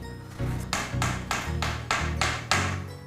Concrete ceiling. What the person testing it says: is not hollow, this is a concrete ceiling